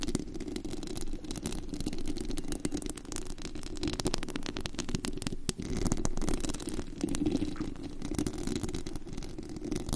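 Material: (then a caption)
Metal mesh. Long acrylic nails on both hands scratch across the bare perforated metal mesh grille over the hollow head of a large studio USB microphone, set to full sensitivity so it picks up the contact directly. The result is a dense, continuous scraping rasp with a heavy, boomy low-end rumble and rapid bright clicks, holding steady for the whole clip.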